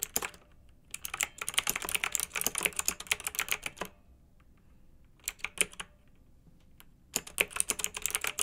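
Long-nailed fingertips type on a pink mechanical keyboard with round retro plastic keycaps and blue backlight, resting on a fluffy rug. Rapid, bright plastic clacks come in bursts: a long run of typing, a quiet pause, a short flurry, another pause, then the typing resumes. Each keystroke is sharp and dies away almost instantly.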